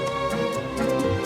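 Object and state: Nothing is struck.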